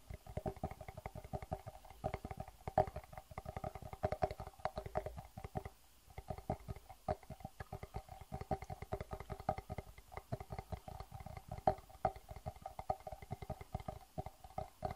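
A small, hollow, empty clear plastic box is held upright and tapped quickly with the fingertips for about fifteen seconds. The result is a rapid, dense patter of light, hollow clicks that each die away almost at once, with a plasticky resonant tone around 770 Hz. The tapping eases briefly near the six-second mark before continuing.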